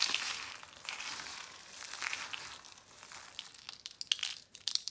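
A large pile of dry pink, orange and yellow soap curls is scooped, squeezed and crumbled with fingers and palms. It makes a continuous bright, crisp crunching and crinkling with no low end, breaking into sharper, separate crackling snaps toward the end.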